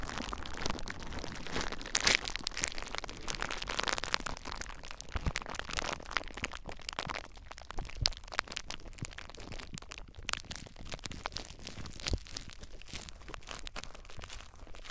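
A sheet of clear plastic bubble wrap wrapped around a small device is squeezed and pressed with the fingertips of both hands. A steady bed of crinkling is punctuated by many sharp, bright pops and cracks that die away almost instantly as the bubbles burst.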